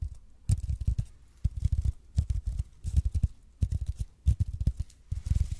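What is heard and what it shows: Fingernails scratch the surface of a red and white speckled expanded polypropylene (EPP) foam roller held in both hands. The scratching comes in short bursts of quick, dull, low strokes, some with a faint bright hiss, separated by brief pauses.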